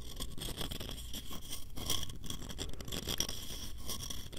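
Fingernails scratch quickly along the ridges and edges of a small, hollow, light-wood box held close to the microphone. The result is a steady stream of rapid, dry scratching and rasping with a low rumble underneath and bright, hissy highs.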